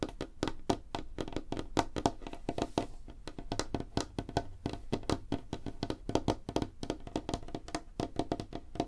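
Both hands tap rapidly on a large, flat, solid light-wood tabletop, possibly veneer, using long fingernails and fingertips. The result is a dense, continuous patter of short, dry wooden knocks with a mid-low hollow tone. Each knock dies away almost instantly.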